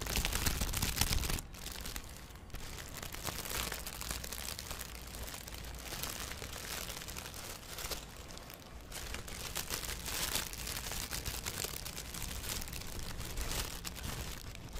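A thin, empty blue plastic bag is held flat, then bunched near the mic as fingers crinkle and crumple it. A steady, dense crackling rustle with bright, crisp texture runs throughout, louder in the first second and again in brief swells.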